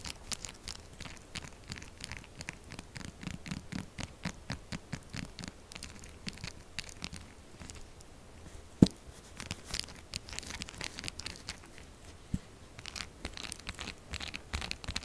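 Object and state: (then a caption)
Scratched soap bar. Long nails scratch and dig quickly into a pink, textured solid soap bar whose surface is gouged into grooves, leaving crumbs on a mat. The clip is a steady stream of dozens of short, dry scratches and scrapes with a bright, crumbly edge over a low rustle. One sharper, louder snap lands about halfway through.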